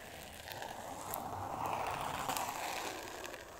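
Long nails scratch across a solid, thin, flat pink board covered in glitter paper, producing a steady gritty rasp centered in the midrange near 1 kHz with faint bright ticks. The scratching swells in loudness through the middle of the clip and eases off toward the end.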